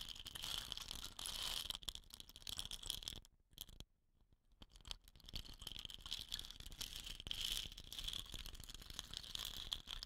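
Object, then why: Wooden rain stick. Fingernails tap and scratch along the tube of a hollow, dot-painted wooden rain stick, setting off a strong, bright rattle from the filling inside. The quick, dry clicks and hiss center near 3.3 kHz, fade into a brief near-silence a few seconds in, then return as a steady rattling.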